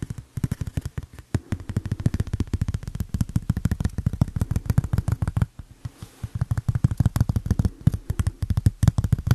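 A thin, flat, solid tempered glass phone screen protector, about phone-sized with a white frame edge and a protective tab, is held in the hand and tapped and scratched along its edge and surface with the fingertips and a fingernail. A rapid, steady stream of short, dull, low tapping clicks with very little ring continues throughout, with a brief lull just before the midpoint before the tapping picks up again.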